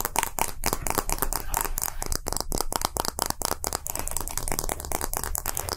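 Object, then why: Hollow plastic capsule. A small hollow round plastic gacha capsule with green and translucent halves is held in one hand and tapped and flicked with fingertips and short nails. The result is a rapid, uneven run of dry, clicky plastic taps with bright edges and almost no ring.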